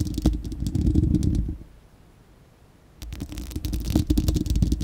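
Long acrylic nails of both hands scratch and tap the bare, hollow, fist-sized spherical steel wire-mesh grille of a microphone. A dense, rumbling low scraping is peppered with quick, bright ticking clicks. It comes in two bursts separated by a short near-silent pause.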